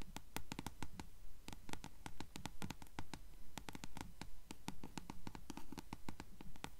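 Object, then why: Paperback book page-block edge, paper. Long nails tap and scratch the yellowed page-block edge of a closed blue paperback book held upright. Quick, dry, bright clicks and short paper scrapes come in a fairly steady rhythm over a soft low rumble, each one dying away almost at once.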